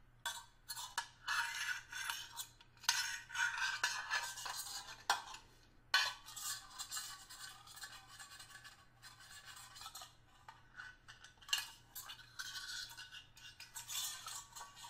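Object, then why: Stainless steel hip flask. A small metal screwdriver taps and scrapes across the face of a small, hollow, flat stainless steel hip flask whose fill level is unknown. Bright, gritty scrapes alternate with sharp metallic taps that ring briefly around 1.5 kHz, over a faint steady low hum.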